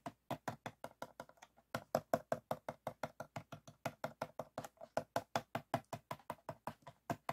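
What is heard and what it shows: Fingertips and short nails from both hands tap and scratch the ridged sides of a clear, empty, hollow PET water bottle with a blue cap, standing upright on white foam. About 39 quick, dry, hollow taps with a mid-range tone around 660 Hz fall in an uneven rhythm, with a brief pause near the start. Each tap dies away almost instantly.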